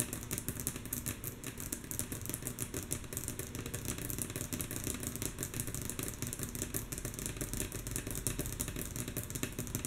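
Long natural fingernail tips of both hands tap rhythmically and mostly softly on a solid, flat, light wooden tabletop. A dense, steady stream of quick, dry clicks runs throughout, with bright nail ticks over a low, woody knock that fades almost instantly after each tap.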